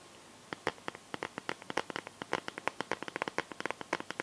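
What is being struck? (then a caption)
Clear plastic phone case with liquid glitter. Long painted nails tap the back of a smartphone in a clear plastic case filled with liquid glitter, making about 29 quick, dry plastic clicks in an uneven rhythm. Each tap is sharp and bright with almost no low end and dies away at once, over a faint steady hiss.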